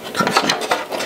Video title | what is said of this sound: Guitar Physics and the i-beam bracing | It should be much brighter because the braces are much smaller and it's much closer together.